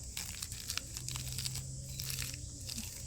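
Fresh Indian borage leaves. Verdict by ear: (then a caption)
Crisp. A handful of fresh Indian borage leaves is crumpled by hand, giving a steady run of crisp, crunchy crackling with bright, sharp snaps over a low background hum. The crunch shows the leaves are very crisp.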